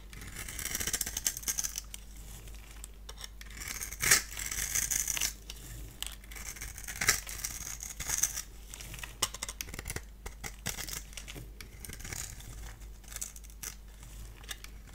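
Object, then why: Bar soap. A solid, dry orange bar of soap held in the hand is scored and shaved into crumbs with a multi-blade cutter. The result is a steady run of crisp, bright scraping and crackling, with louder crunchy bursts around the 4- and 7-second marks. A faint low hum sits underneath throughout.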